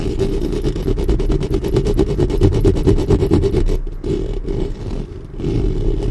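Long nails and fingertips scratch the top of a black studio microphone's hollow metal mesh grille in fast, rhythmic strokes. The close, scraping rasps carry a heavy low rumble with a bright, gritty edge. The scratching eases briefly around the fourth and fifth seconds before picking back up.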